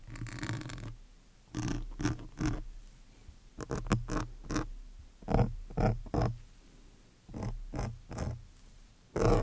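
A metal awl needle with a yellow handle is scratched across the top of a large, soft, porous black foam windscreen on a studio microphone. The result is short, muffled bursts of scratchy, rumbling noise that are heavy in the low end, separated by quieter gaps.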